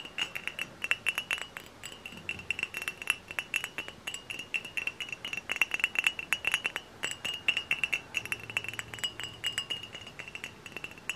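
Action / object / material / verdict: tap / glass bottle / glass / none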